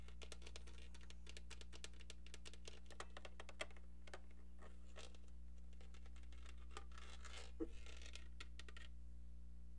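A brown, football-shaped novelty phone made of hollow plastic is held in one hand and tapped and scratched with long nails. Quick, dry, bright clicks patter at about four per second, irregularly, with a longer scratchy brushing stretch near the end. A steady low hum sits underneath throughout.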